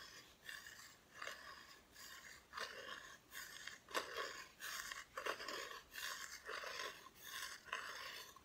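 Long nails scratch and rub across the bare, unfinished wooden back of a flat, solid Christmas decoration cutout. The result is a series of dry, bright rasping strokes in an irregular rhythm, centered around 1 kHz, with a soft hiss between them.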